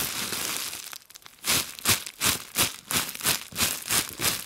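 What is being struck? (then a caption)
Plastic bubble wrap. A bundle of clear plastic bubble wrap held in both hands is scratched and crinkled with long glitter nails. A steady, bright crackling rustle gives way after a brief quieter moment to a rhythmic run of about nine sharp, hissy crinkling bursts.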